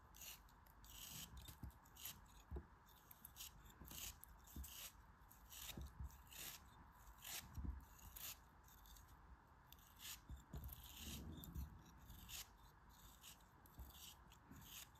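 A craft knife blade slices and scrapes through a small solid lump of grey kinetic sand held between the fingers, crumbling bits off. It makes repeated short, grainy cutting scrapes with bright, hissy bursts over a steady low hum.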